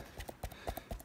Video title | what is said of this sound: The stuff I shot | when you hit it with force, it's solid